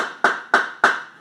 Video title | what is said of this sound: Why you shouldn't eat raw maca | it's like a rock